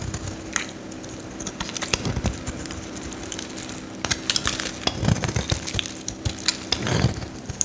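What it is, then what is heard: Bar soap being carved with a blade. A metal utility knife blade carves crumbly shavings off a solid yellow Lifebuoy soap bar held in the hand. Sharp, bright cracking and scraping clicks sit over a steady low hum, growing denser and louder in the second half.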